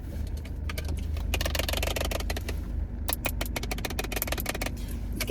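Fingernails tap quickly and unevenly on a McDonald's fast-food drink cup holding Hi-C orange, producing many short, bright clicks. A steady low rumble runs underneath the taps throughout.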